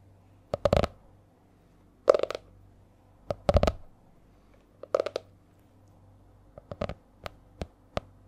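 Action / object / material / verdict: tap / laminated hardcover notebook / laminated cardboard / none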